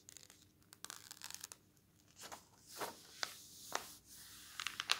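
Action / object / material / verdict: scrape / glossy coated paper magazine / coated paper / none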